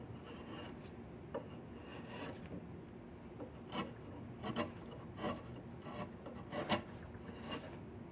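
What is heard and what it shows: A chisel carves and scrapes near the knots of a solid diamond willow walking stick, making a steady, low, rasping scrape. Several sharper, brighter bursts of cutting stand out above the constant filing texture.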